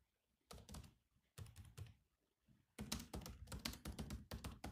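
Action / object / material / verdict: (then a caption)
tap / plastic laptop keyboard keys / plastic / none. Bare fingertips of both hands type on the black plastic chiclet keys of a grey laptop with a solid body resting on a desk mat. Short bursts of soft, thunky key taps with pauses between them give way to a denser, steadier run of typing. Each tap has a dull low body, a brief bright click, and a very quick decay.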